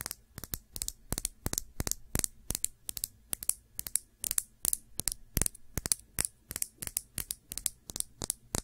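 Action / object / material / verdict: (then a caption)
tap / small glass nail polish bottle / glass / none. A small Sephora glass nail polish bottle with a black cap, filled with dark polish, is held upright and tapped and scratched with long nails. The result is a rapid, uneven series of sharp, bright clicks with no ring, mixed with faint scratchy rustles between the taps.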